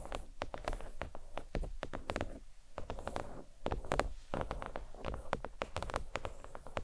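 Long nails tap quickly and irregularly on a thin, flat, red stitched faux leather oval desk mat resting on a towel. The taps are soft, dry, muffled thuds with almost no ring, mostly low in tone with a faint mid-pitched tick.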